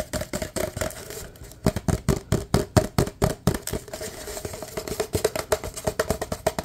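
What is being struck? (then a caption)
Paper cup. Fingertips tap quickly on the bottom and sides of a large, empty, hollow white paper cup with red print. The result is dozens of short, dry, hollow taps with a low thump and a faint midrange resonance, coming in fast, uneven bursts with almost no ring after each hit.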